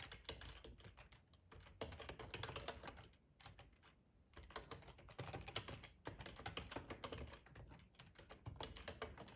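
Fingertips type steadily on a black plastic, hollow-bodied split ergonomic computer keyboard. Quick, dry clicking taps come in dense bursts, with brief pauses between runs. Each tap is short with almost no ring, and the sound is bright with a light low thump.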